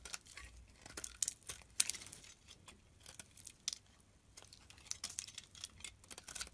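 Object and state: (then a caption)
Bar of soap being carved. A blade carves and scrapes flakes off a solid beige, peach-toned bar of soap held in the hand. Quiet, bright, crisp scraping and crinkling bursts come in quick succession, with almost no low end and very short decay.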